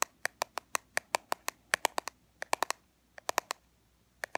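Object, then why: Small plastic powder compact. A small black plastic powder compact, held on its edge, is tapped and scratched along its sides with fingernails. There are 23 sharp, dry clicks with a bright, hollow plastic tone and almost no ring. They come in a steady run at first, then in small clusters separated by short pauses.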